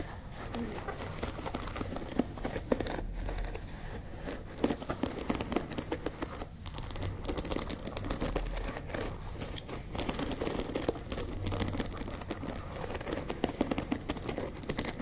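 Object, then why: Wooden paddle hairbrush with bristles. Long nails scratch across the dark bristles of a wooden paddle hairbrush held up near the face and tap its wooden frame. A steady, close, crinkly scratching runs throughout, broken by short, sharp taps with little ring.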